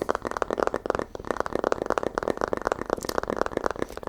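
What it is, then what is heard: Tapped paper book with a wood-like sound. Fast, continuous tapping on a paper book gives a dense stream of short, dry, wood-like knocks centred around 500 Hz. The knocks have almost no ring, sounding like wood because paper is made from wood.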